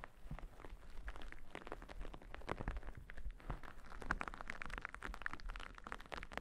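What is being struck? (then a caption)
Cotton terry towel. A thick, white, fluffy cotton terry cloth towel with a printed face, draped over a microphone, is scratched with two small thin orange-tipped tools held between long-nailed fingers. The result is a soft, rapid, continuous run of quiet scratching strokes over a low rumble.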